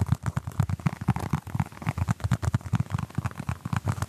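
A small orange basketball-patterned foam stress ball, held in both hands in front of the mic, is tapped and scratched across its textured surface by fingertips and short nails. The result is a rapid, steady patter of soft, dull, low thumps that die away almost instantly, with faint scratchy texture between them.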